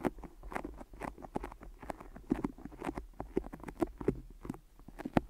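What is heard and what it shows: Fingertips tap and peel on sticky tape wrapped around microphone ears, the surface marked as abnormal. A rapid, irregular stream of short, dull taps sits in the low-mids, with faint sticky crackles as the fingers pull away. The sound stays close and quiet, with a few sharper taps near the end.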